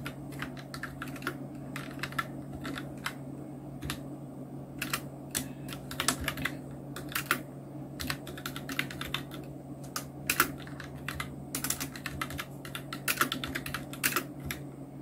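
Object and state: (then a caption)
Plastic mechanical keyboard. Continuous two-handed fingertip typing on a full-size black Nubwo Illution NK-70 plastic mechanical keyboard with Outemu red switches, round plastic keycaps and blue backlight. Quick, dry key clicks and clacks tap out over a steady low hum, with no speech.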